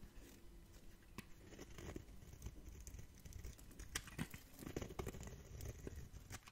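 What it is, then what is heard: Dry bar soap. A metal blade scrapes crunchy shavings off a solid, dry orange bar of soap held in the hand. The sound is a quiet, steady crackling scrape with frequent sharp, dry clicks and crunches over a low rustle.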